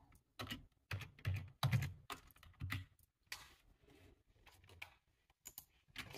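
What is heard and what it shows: Fingertips with short nails type on a black low-profile plastic computer keyboard with a hollow body, resting on a table. Irregular bursts of short key taps come in quick clusters, each a dull low thud with a bright clicky edge that dies away almost at once.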